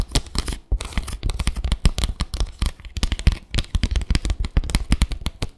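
Long acrylic nails scratch and tap across the slats of a small, flat bamboo slat mat. A rapid, uneven stream of dry, clicky scrapes and ticks follows, each one short with almost no ring. The taps carry a soft low thump beneath the brighter scratchy edges.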